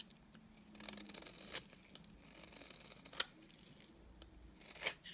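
A utility knife blade scrapes curls from the surface of a solid, dry, cream-colored bar of soap. Quiet, bright, crisp scraping rasps are broken by a few sharp, high clicks as the blade catches and releases.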